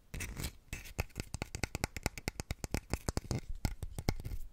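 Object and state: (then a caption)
Stone warrior figurine scratched with nails. A small stone warrior figurine with a textured armor surface, held upright beside the microphone, is scratched and rubbed with long nails. The result is a rapid, irregular series of short, dry scratching clicks over a soft, continuous rubbing. The clicks are heavy in low-end thump, with some brighter crackle on top.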